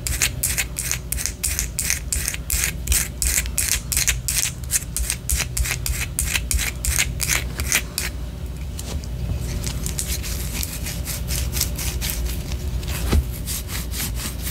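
Long orange nails scratch and tap a white solid wax pillar candle, making a quick, steady run of bright, dry scraping strokes over a low, constant hum. After about eight seconds the strokes turn softer and closer together into a continuous, fainter scratching. A single sharper tap stands out near the end.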